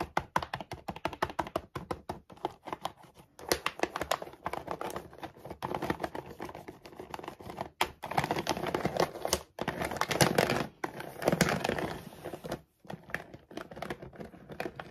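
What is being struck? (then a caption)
Plastic dog food bag. A full plastic dog food bag is turned around on a table while a fingernail taps and scratches the printed logo area. Fast, crisp tapping clicks alternate with denser, louder bursts of scratchy plastic crinkling. The sound is mostly midrange with short, dry hits.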